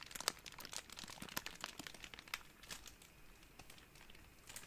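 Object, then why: Plastic bubble wrap. A large wad of clear plastic bubble wrap is squeezed and crinkled with the fingertips. It makes a quiet, steady stream of bright, dry crinkling with sharp crackly snaps mixed in. It has almost no low end, and each crackle stops at once with no ring.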